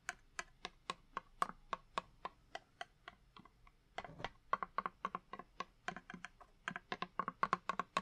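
A small, hollow purple cardboard box of candle matches, held upright, is tapped with fingertips and with a long wooden match. The result is a quick, uneven run of sharp, dry taps with a hollow midrange knock near 1 kHz and bright clicky edges that stop almost instantly. A softer, scratchy stretch comes in the middle before the tapping picks up again.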